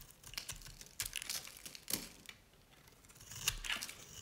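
A utility knife blade scrapes along the edge of a dry, cream-colored Nevskaya Cosmetics solid soap bar, shaving off flakes. Quiet, bright, crumbly scraping and crinkling bursts come in uneven strokes, each ending almost at once, with faint hiss between them.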